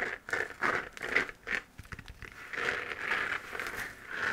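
A hollow, textured 3D-printed plastic moon-lamp sphere, glowing white, is held in both hands and scratched with long nails. Dry, crinkly scratching sounds come in uneven bursts, with a bright hollow resonance near 2 kHz and almost no low end.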